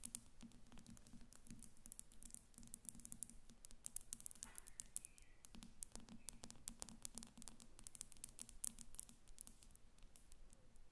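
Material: Glass.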